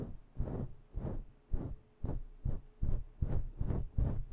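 Long bare nails scratch hard at a fluffy faux-fur microphone windscreen in about ten rough, rhythmic bursts. Each stroke is a deep, muffled, throbbing rumble, almost all low-frequency, with faint brushy hiss on top.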